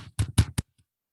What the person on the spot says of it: You can hear that noise as I tap on my computer.